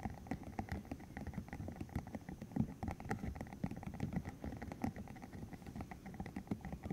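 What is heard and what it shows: A green hollow silicone tube about 15 cm long, covered in rubbery spikes, is held in the hands while its spikes are flicked and it is squeezed and rubbed with the fingertips. The result is a quiet, dense patter of many soft rubbery taps, flicks and squishy creaks, mostly low and muffled, with faint brighter clicks scattered throughout.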